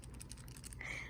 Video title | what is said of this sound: My Cube Collection (75 Sub Special) | there is something loose inside the cube